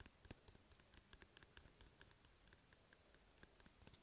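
An empty, hollow, small brown cardboard toilet paper tube is held in one hand and tapped and scratched with fingertips and short nails. The result is a quiet, irregular patter of dry, bright clicks, roughly four per second, each stopping at once with no ring, over soft scratchy rustling.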